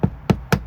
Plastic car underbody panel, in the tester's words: That's plastic. It sounds hollow.